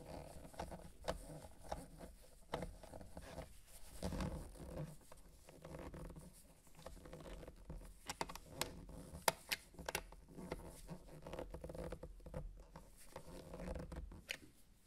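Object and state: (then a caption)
Plastic game console case. White-gloved fingertips tap and scratch around the cartridge door on the underside of a small, hollow, dark grey plastic game console case. The result is a quiet, steady run of soft, dry taps and scratchy rustles with a low hollow body and occasional sharper bright clicks, each dying away almost instantly.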